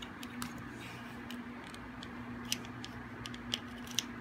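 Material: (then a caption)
Soap. A metal blade scrapes a solid, hard and dry green soap bar held in the hand, making quiet, irregular bright scratches and crisp clicks. A few sharper snaps stand out over a steady low hum.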